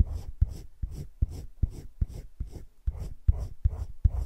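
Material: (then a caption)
Paper. A hand rubs a teal colored pencil in small strokes around a drawn droplet on thick cream drawing paper in a spiral-bound drawing book lying flat. About ten soft, slightly uneven scratching strokes come at a steady pace, each a quiet, dull, low rub with a brief onset and a faint airy hiss.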